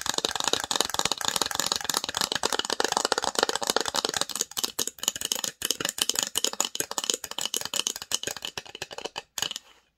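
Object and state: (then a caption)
Wooden box. Long nails rapidly tap and scratch the engraved lid of a small, hollow, varnished wooden box. The result is a dense, bright clatter of short, dry clicks with scraping between them, no ring and almost no low end. It thins out near the end and stops just before ten seconds.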